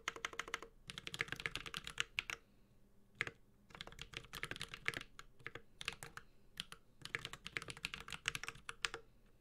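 A Space65 Cybervoyager 65% mechanical keyboard, with a white-gold aluminum case, plastic keycaps, a carbon fiber plate and Holy Panda tactile switches, is typed on steadily with the fingertips of both hands. Rapid runs of bright, crisp clacks with a soft low thock underneath come in three bursts separated by brief pauses, and each keystroke stops dry with almost no ring.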